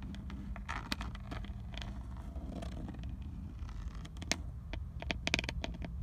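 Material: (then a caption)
Plastic. Long decorated acrylic nails tap and scratch on the textured black plastic airbag cover and chrome emblem of a Nissan steering wheel centre, which is solid and fixed. Quick, dry clicks and scratchy rustling sit over a steady low hum.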